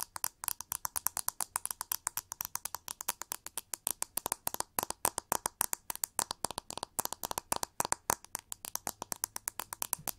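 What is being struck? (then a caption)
Plastic hair brush. Long nails rapidly scratch and tap the back of a pink, hollow, oval plastic hair brush with white bristles, held over the mic. About 78 quick, dry, clicky taps run close together, with a hollow midrange knock near 940 Hz and bright, crisp edges. Each tap dies away almost instantly, with almost no low end.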